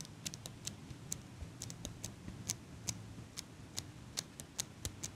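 A small metal eyelash curler is held in one hand close to the microphone while fingertips with long pink nails squeeze and release its handles. About 19 short, bright clicks and ticks come at an uneven pace over a soft low rumble, each dying away almost at once.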